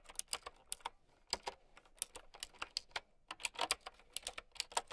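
Long nails and fingertips type on a mint-green typewriter-style mechanical keyboard with round plastic keycaps. About two dozen quick, bright, clicky keystrokes come in an uneven rhythm, each snapping off almost instantly with very little low end.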